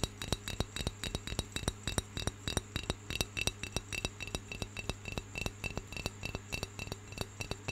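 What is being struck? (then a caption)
Unglazed clay pencil holder. Fingernails of the right hand tap rapidly on the curved side of a round, hollow, unglazed brown clay pencil holder held in the left hand. The taps are short, dry, bright clicks in a quick, uneven rhythm, each dying away almost instantly. A steady low hum runs underneath throughout.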